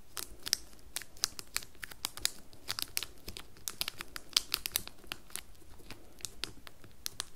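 Long nails scratch and tap the top and sides of a small, square, red printed cardboard soap box wrapped in crinkly plastic film, held upright on a table. Dense, bright crinkles and crisp clicks come in rapid bursts with almost no ring, over a quiet low rumble.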